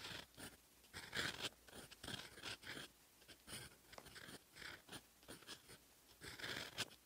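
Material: Paper.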